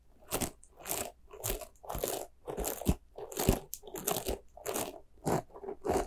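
Long nails scratch the bristles of a small, white, soft rubber spiky ghost squishy toy. The result is a steady series of short, crunchy, bristly scratching bursts with a bright, hissy edge and quick, dry stops between strokes.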